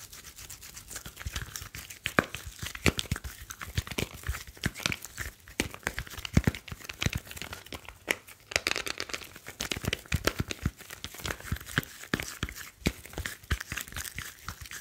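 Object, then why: Smartphone with glass screen and metal back. Fingertips rub and tap the back and edges of a grey smartphone with a glass screen and metal back. A steady, dense scratching and crinkling texture with a bright hiss is punctuated by many quick, dry taps that carry soft low thumps and stop with almost no ring.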